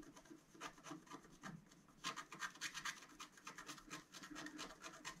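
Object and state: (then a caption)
Scratch art card being scratched. A wooden stylus scratches the coating of a flat, black-coated scratch art card, about A4 size, lying on a table. It makes a quick series of short, dry, raspy scraping strokes that are bright and thin with almost no low end, some strokes louder than others.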